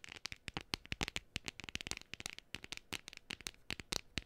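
A flat, hand-sized printed cardstock gnome decoration, thin and solid, is held close to the mic and tapped and scratched with long painted fingernails. A rapid, uneven run of many sharp, dry clicks and scratchy ticks follows, each cutting off instantly with no ring. The sound is crisp and bright, weighted toward the high end with little low body.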